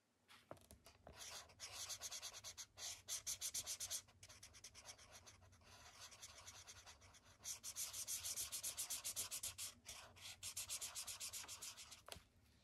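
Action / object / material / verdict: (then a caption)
scrape / felt-tip marker on a paper sketchbook page / paper / none. A thick yellow felt-tip marker rubs back and forth over a white paper sketchbook page on a wooden desk to fill a shape. The result is a run of quick, bright, scratchy strokes in bursts, separated by short pauses.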